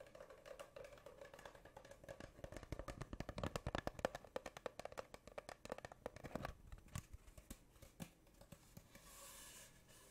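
Long painted nails tap rapidly along the length of a long, hollow, empty brown spiral-wound cardboard tube held horizontally. The result is a dense run of short, dry, hollow knocks with a resonant midrange tone, busiest in the middle and thinning toward the end. The taps fade into a soft, bright hiss.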